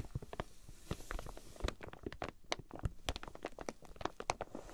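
Long painted nails tap and scratch the clear plastic wrap sealing a flat, folded quilted fabric item with card price tags on top, lying on a fluffy mat. Many quick, dry taps and crinkly scratches follow one another in an uneven patter, each brief and bright, with a soft low rumble underneath.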